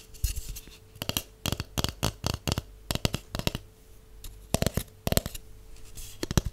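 Long acrylic nails and natural nails tap along the surface of a hollow white cardboard tube with its open end showing. The result is quick bursts of short, dry, clicky taps, each with a hollow low body and a bright edge, separated by brief pauses over a faint steady low hum.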